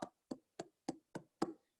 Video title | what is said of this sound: AUTOLISE - mão na massa | Quando ele tiver com esse som, é que ele tá assado.